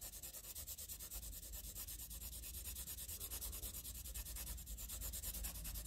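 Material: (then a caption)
Paper. The tip of a wooden graphite pencil scratches repeated diagonal shading strokes across a flat sheet of squared graph paper, making a quiet, rapid, steady rasping with a bright hiss over a low rumble. Dark graphite builds up on the paper as the strokes continue.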